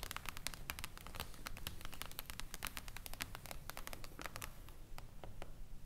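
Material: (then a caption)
Glass. Fingertips and long acrylic nails of both hands tap quickly on a flat, glossy, reflective glass tabletop panel, a solid sheet resting on a wooden table. The result is a rapid, uneven stream of short, bright clicks, each dying away almost at once, over a steady low rumble.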